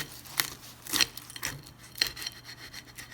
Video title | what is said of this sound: Weave Samosas in English with Raihana's Cuisines | they're super crispy so we're going to cut into this